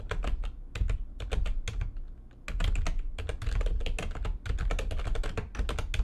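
Fingertips with long nails type fast on the keys of a full-size, low-profile, backlit plastic computer keyboard resting on a desk. Quick, bright clicks and clacks ride over a low, dull thump from each keystroke. The typing dips briefly just after the two-second mark, then resumes in steady, dense bursts.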